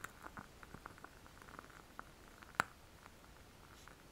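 A small lit candle in a clear glass jar filled with solid wax is held in both hands close to the microphone and tapped and scratched around the glass with fingertips and nails. It produces a quiet series of short, dry clicks and light scratches with a faint glassy tone around 1.4 kHz, plus one sharper, louder tap near the middle. Each sound dies away almost instantly, with no lingering ring.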